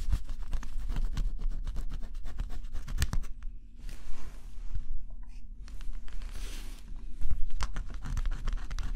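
A stylus held in the fingertips scratches a flat, thin cardboard scratch-off jigsaw puzzle with a black coating. Quick, dry scratching clicks come first, then give way to softer, hissing strokes with bright edges. A low, steady hum runs underneath throughout.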